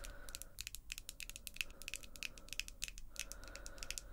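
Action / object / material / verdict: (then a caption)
tap / long acrylic nails / acrylic / none. Long, glossy pink acrylic nails tap and click rapidly against each other between two hands. The result is a quiet, fast stream of sharp, bright clicks with a ringing tone near 2.6 kHz. A faint steady hum sits underneath at the start and end.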